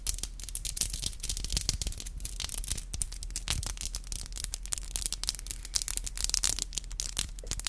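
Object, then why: Acrylic fingernails. Long black acrylic nails are tapped tip to tip with both hands, producing rapid, dense, bright clicking in quick, irregular bursts. A low, steady hum sits underneath the clicks throughout.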